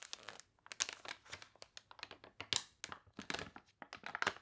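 Long dark nails and fingertips scratch, rub and turn the water-wrinkled, wavy pages of a thick glossy paper toy catalog lying open on a table. The result is a quick run of dry, bright crinkles and crunches with short tearing-like rasps and brief pauses between them.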